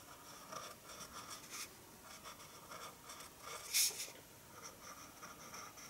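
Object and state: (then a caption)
Pencil drawing on paper. A red pencil draws in scratching strokes on white drawing paper resting on a wooden table. Quiet, high, dry scratches repeat throughout, with one sharper, brighter scrape near the four-second mark.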